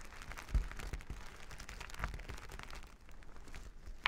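Flat plastic sequin fabric is rubbed and scratched with plastic finger-massager tools worn on the fingers, giving a steady crinkly, scratchy rustle. A bassy thump stands out near the start, and there are brief brighter scrapes around the two-second mark and at the very end.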